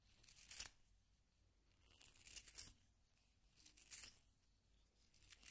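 A solid yellow wooden pencil is twisted in a small pink plastic hand sharpener, its blade shaving the wood. The result is a dry, bright, papery rasping that rises and fades in repeated swells, with little low end and almost no ring.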